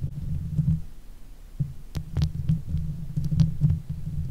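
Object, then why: Steel mesh microphone grille. Long nail tips scratch the top of the hollow steel mesh grille on a silver Blue Yeti microphone. The result is a dense, low rumbling scrape concentrated around 100–200 Hz, broken by brief, bright ticking clicks.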